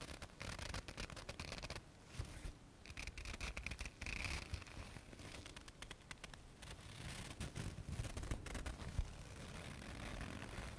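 A thin white paper tissue is held in both hands and rubbed and folded with the fingertips and nails. It makes a steady, quiet run of dry, crinkly scratching and rustling, with dense bursts of short crackles over a low, soft rumble. Brief brighter hissing streaks come through at times.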